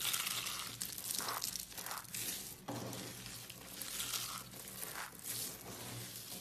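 A pile of small, hollow, yellow dried soap curls is pressed and crushed with palms and fingers. It makes dense, bright crunching and crackling that swells and fades in waves. The tubes break down into crumbly flakes.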